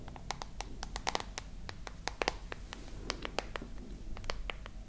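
Long nails scratch and tap the glass back and metal frame of a dark smartphone held close to the microphones. Quick, sharp, bright clicks come in an uneven run over a soft, low, rustling scratch that continues throughout.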